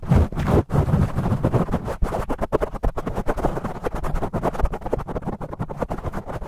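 Fingertips and nails rapidly scratch and rub a black foam microphone windscreen, with the audio sped up 2x. The result is a dense, continuous, muffled scratching made of quick crackly bursts, heavy in low rumbling tones with almost no bright content.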